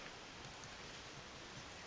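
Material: Nothing is struck.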